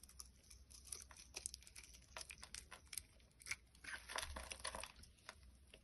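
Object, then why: Bar of soap shaved with a blade. A box cutter blade shaves the surface of a solid orange bar of soap held in the hand. It makes a quick run of dry, crisp scraping and crunching strokes, bright and crackly, over a faint low hum.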